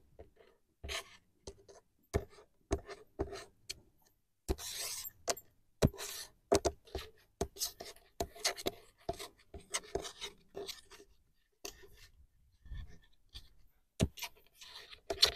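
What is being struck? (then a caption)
Painted wooden plank sign with raised vinyl letters. Fingertips and nails tap and trace over the white raised vinyl letters and wood grain of a large, solid, flat painted wooden plank sign reading "Capone Cabin" outdoors. Sharp, dry taps come in quick bursts, mixed with brief scratchy rubbing and tracing strokes. Each tap dies away almost at once.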